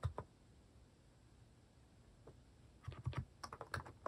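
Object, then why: Plastic mechanical keyboard keys. Fingertips type on a cream plastic mechanical keyboard fitted with plastic cat and paw keycaps. Two quick keystrokes are followed by a quiet pause, then a faster burst of soft, low, muted clacks with very short decay.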